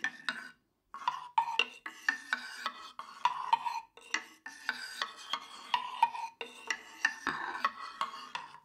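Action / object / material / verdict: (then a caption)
scrape / small wooden tongue drum played with a stick / wood / none. A hand-sized, hollow octagonal tongue drum of light unfinished wood, held in one hand, is struck and scraped along its slatted tongue sides with a thin wooden stick. It gives quick, dry, woody clicks and short rasping scrapes in an uneven rhythm, with a hollow tone centered near 930 Hz and bright edges. Each hit dies away almost instantly, with a brief silence near the start.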